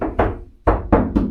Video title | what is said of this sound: Technically Homeless Van Build: Episode 1 | tap around here you can hear that I've definitely dampen the sound